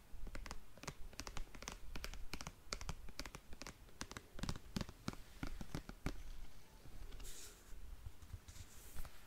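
A single black patent leather high-heel sandal with a beige insole is held in one hand while long nails tap and scratch its glossy straps. Quick, dry clicking taps come in a rapid, uneven stream over a low background rumble. Near the end, softer, hissy scratching strokes take over.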